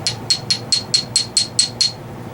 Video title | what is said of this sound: New GoPro Charger and a GoPro Hack! | it's like that stone. That stuff is hard.